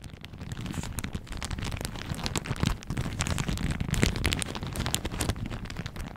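A thin pink-and-white floral plastic shower cap, stretched hollow and empty over a microphone, is scratched and squeezed with long manicured fingernails and fingertips. It gives a dense, continuous crackle of crinkles with sharp bright ticks over a heavy low rumble, swelling at moments and never fully stopping.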